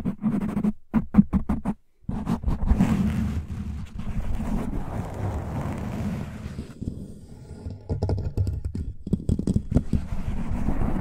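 Fingertips and short nails of both hands rapidly scratch and rub a soft, porous black foam windscreen on a large microphone over its hollow mic head. The sound is a dense, muffled, low-heavy scratching and rubbing with a hum-like body around 200 Hz. It begins with distinct strokes, breaks off briefly near the two-second mark, then continues as a near-constant rustle.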